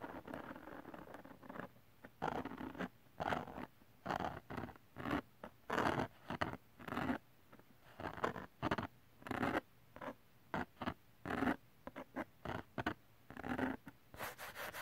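Fingertips and nails scratch rapidly across a thin, flat holographic glitter cardstock sheet. The result is quick, dry, zipper-like rasps in short bursts separated by brief quiet gaps, with a papery texture centered in the mids.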